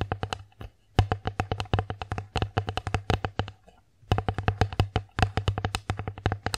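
Long acrylic nails tap and scratch a flat, thin, solid bamboo bear-shaped children's plate held upright, producing a rapid run of short, dry clicks with almost no ring. There is a steady low hum underneath and brief pauses near the one- and four-second marks.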